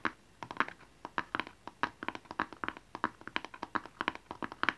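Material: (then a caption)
Cardboard. A small, hollow blue and white rectangular cardboard gift box with a barcode label is held in both hands and tapped with fingernails and fingertips. It gives a quick, irregular series of short, dry, papery taps with a hollow midrange tone around 1.6 kHz and almost no ring, in a quiet space.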